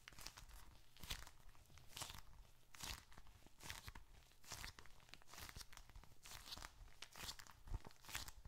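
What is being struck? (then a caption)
Leather bifold wallet with bills and receipts. A small, closed, dark red leather bifold wallet, hollow with bills and receipts inside, is squeezed and scratched with fingertips. It gives repeated bursts of dry crinkling and crackling over a low rumble, each burst short with no ring.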